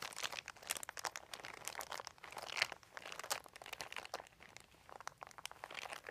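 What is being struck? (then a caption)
Thin plastic sheet. Fingertips scratch and crinkle a large, thin, white crumpled plastic sheet lying on carpet. A steady stream of quick, dry, bright crackles and crinkles comes with almost no low end, each snap dying away at once. The whole clip stays fairly quiet, with a few louder bursts.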